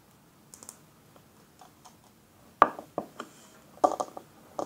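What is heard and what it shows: Fingernails tap a small square glass perfume bottle with a black flower cap, partly filled with blue liquid, both while it is held in the hand and while it stands on a table. Faint, scattered light ticks are followed by sharper, louder clicks. Each tap is short and dry, with almost no ring.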